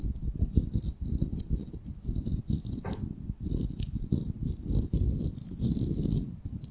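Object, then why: Raw wooden ball. Fingernails tap quickly on the surface of a solid, palm-sized, unfinished ball of raw light wood. The result is a dense, dull patter of short, dry taps, heavy in the low end, with a faint bright hiss above.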